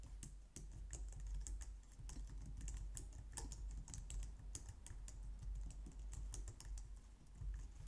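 Long painted nails and fingertips type steadily on a low-profile white/light-grey plastic wireless keyboard resting on a glitter mat on a wooden desk. Quick, bright plastic taps and clicks come in a continuous stream over a steady low hum, each tap dying away almost at once.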